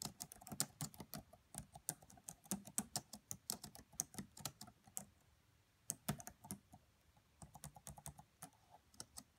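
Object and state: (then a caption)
Plastic laptop keyboard. Both hands type with fingertips and long French-manicured nails on the black plastic chiclet keys of a red laptop with a hollow body. About 34 quick, bright clacks with a soft low thump under each come in uneven bursts, with brief pauses near the middle and toward the end. Each tap dies away almost instantly.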